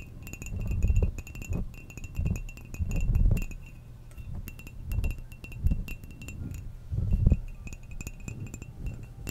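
A hollow ceramic coffee mug with a flower pattern, held in the hand and apparently empty, is tapped and scratched with long manicured nails. Quick, light clicks and clinks with very short ring sit over low, rumbling swells of scratching and handling. The tapping comes in irregular bursts.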